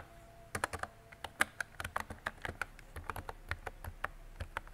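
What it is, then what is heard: Plastic mechanical keyboard. A mint-green retro mechanical keyboard with round plastic keycaps and a hollow body is typed on with fingertips and long decorated nails. About 22 short, crisp plastic clacks come in an uneven rhythm, each centered around 1.6 kHz with a bright edge. Each clack dies away almost instantly over a quiet background.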